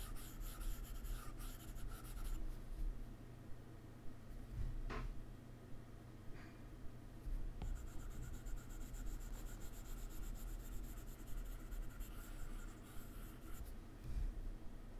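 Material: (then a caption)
Glass. A hard plastic stylus tip rubs and scratches across the solid glass screen of a large, flat iPad resting on a laptop keyboard, making continuous shading strokes. The result is a steady, soft scratching with bright, high hiss, over a constant low hum, broken by a couple of brief sharp clicks.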